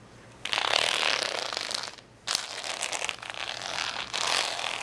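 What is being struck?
Acrylic rhinestone sticker sheet.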